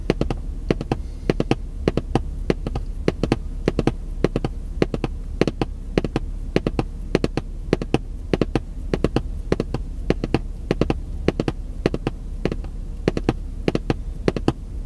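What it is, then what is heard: Cardboard box. A long, hollow, printed cardboard puzzle box is held up and tapped rapidly with white-gloved fingertips, about 71 times over 15 seconds. Each tap is a short, dry, hollow knock with almost no ring, heard over a steady low hum.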